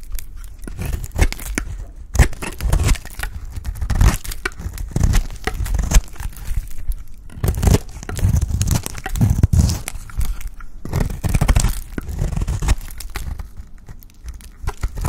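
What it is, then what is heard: Dry bar soap being scraped. A blade scrapes along the edge of a solid, dry orange bar of soap, shaving it into curls. The result is a steady run of dense, dry crackling and crunching bursts with a heavy low-end thump and a thin bright rasp on top.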